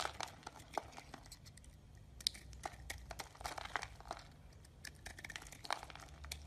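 A hand-sized solid green bar of soap held in the palm is shaved and scraped with a metal utility-knife blade, and soap flakes fall onto a white surface. Dry, crinkly scrapes and crisp little crunches come in an irregular series, bright and short with no ring. A low steady hum sits underneath.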